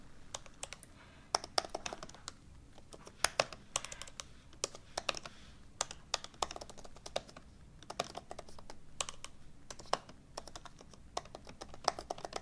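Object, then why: Laptop keyboard with plastic keys in an aluminium body. Fingertips with short-medium painted nails type continuously on the low-profile plastic keys of an open MacBook Pro laptop with a thin aluminum unibody, resting on a table. A steady stream of quick, dry, bright clicks sounds with almost no ring, over a faint low hum.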